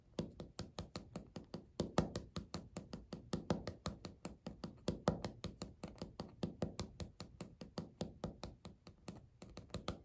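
Natural nails tap and click on a flat, solid beige speckled laminate countertop in close-up, about fifty quick strikes in an uneven rhythm. Each tap is short and dry, with a soft low thud under a bright click and almost no ring afterward.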